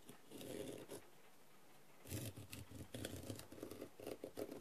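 A wooden skewer, held vertically, taps and scratches the rhinestones on a blue, rhinestone-covered plastic masquerade mask lying on a tray. A soft, gritty scrape is followed by a brief pause. Then comes a run of quick, light taps and scratches with a dull low body and faint bright clicks.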